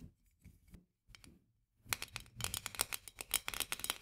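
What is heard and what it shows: Long nails tap and then scratch the rim of a white metal lid on a full glass jar. A few soft, scattered taps give way to a quick run of sharp, bright clicks with a high, scratchy edge. Each click dies away almost at once.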